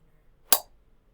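A small metal jello mold is tapped once, giving a short, bright metallic clink with a ringing tone around 720 Hz. The sound fades quickly in about half a second.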